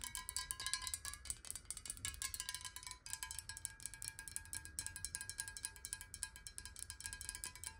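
A clear, hollow, square glass bottle partly filled with water is held in the hands and tapped quickly along its side with long acrylic nails. The result is a rapid, steady stream of bright, clicky taps with short, glassy rings and a faint pitched tone near 1 kHz.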